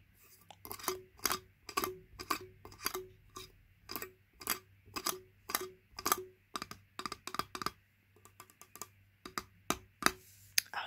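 Long nails tap the steel ring-pull lid and ring pull of a small, full, unopened Heinz spaghetti tin. The result is a quick, uneven series of short, bright metallic clicks with almost no ring, over a faint low hum.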